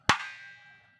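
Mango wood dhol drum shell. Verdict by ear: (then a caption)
Resonant. A single tap on the bare mango wood shell of a dhol still being built. It gives a sharp knock and then a bright, resonant ring centered near 1.1 kHz that fades over about a second. The ring marks the shell as well-made, good-quality wood.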